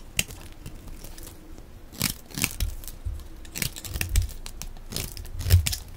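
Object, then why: Glycerin soap bar. A utility knife blade scrapes and shaves thin pieces off the surface of a hand-sized, green, translucent rectangular bar of dry glycerin soap held in one hand. Repeated, irregular crisp scraping strokes each bring a bright, brief hiss over a soft low thud, and some strokes sound louder and crunchier than others.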